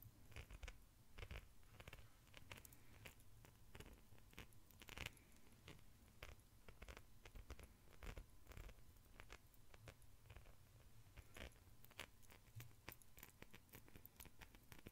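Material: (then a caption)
Metal. An ornate silver-tone metal chain necklace hangs from one raised hand while the fingers of the other hand shake and rattle its links. Many quick, bright metallic clicks and jingles come in irregular bursts over a steady low hum.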